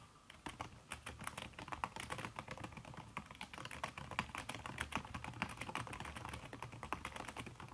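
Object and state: Silicone-covered laptop keyboard being typed on.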